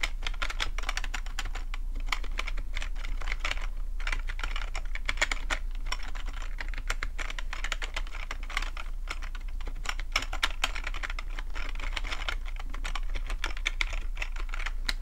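Fingertips type steadily on the keys of a full-size black plastic computer keyboard with a hollow plastic body, making a dense stream of quick, bright clicky taps for about 15 seconds. Each tap dies out almost at once, with a steady low hum underneath throughout.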